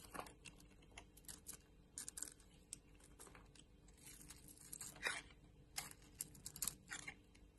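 A purple and white oval bar of soap is shaved with a box-cutter blade, and chunks break off. The clip is a quiet series of crisp, bright scraping and crunching cuts with soft tearing, heard as dozens of short strokes over a faint low hum.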